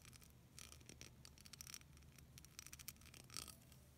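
Long nails scratch rapidly over the beads of a solid, hand-sized clear plastic beaded snowflake ornament. The result is quiet, bright, clicky scratching in uneven bursts over a faint low hum.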